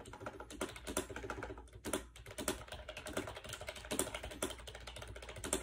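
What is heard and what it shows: A compact gray plastic AJAZZ 308i wireless Bluetooth keyboard with round keycaps and a hollow shell, resting on a bed, is typed on rapidly with fingertips. A steady stream of quick, light plastic taps and clicks, each short with little ring, blends into an even clatter with occasional brighter, sharper key strikes.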